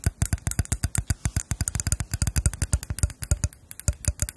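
Long nails tap and scratch the bowls of a pair of small, solid, hand-painted lacquered wooden spoons with red, gold and black designs, held in front of the mics. A fast, steady run of dozens of short, dry clicks is heard, each with a low thump and a bright tick that dies away almost at once.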